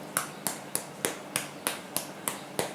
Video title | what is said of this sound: How To Make The Best Homemade Bread Recipe EVER!!!! | it sounds very light but it sounds Hollow it doesn't sound dense it doesn't sound thick it doesn't sound wet